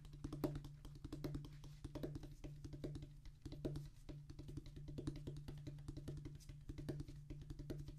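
Both hands drum rapid fingertip taps on a solid, flat rubber drum practice pad with a black rubber top on a tan cork-like base. The taps are dense, quick and dull, with short thuddy attacks that die away almost at once over a steady low hum.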